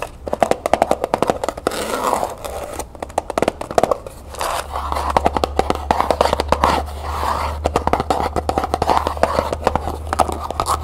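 Long painted nails rapidly tap and scratch the lid and sides of a small hollow cardboard jewelry gift box, covered in textured copper-colored paper and ribbon and held in the hand. The result is a dense stream of short, dry, hollow clicks with a mid-range body, mixed with soft papery scraping, over a steady low hum.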